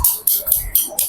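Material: Stone.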